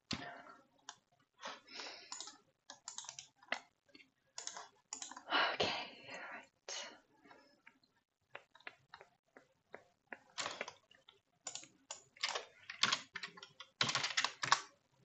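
Fingertips with manicured nails type on and click the keys of a black plastic computer keyboard. Quick, bright, dry clicks come in uneven bursts separated by short pauses, with some taps landing harder than others.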